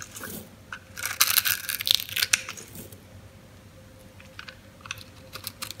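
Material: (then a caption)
Soap. A metal knife slices cubes off a green, oval, solid dry soap bar with a grid-cut surface held in the hand, making crisp, dry crunching and crackling. The bright, irregular bursts cluster in the first half, then give way to quieter scattered crackles over a faint steady hum.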